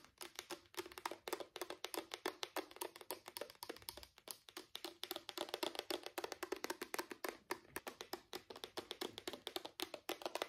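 A small, hollow grey-purple plastic Nivea travel bottle with a pink cap is held in both hands and tapped and scratched with fingertips and short nails. Quick, soft, hollow plastic taps with bright clicky edges come in a rapid, uneven stream, mixed with light scratching. Each tap dies away almost instantly, with no low rumble.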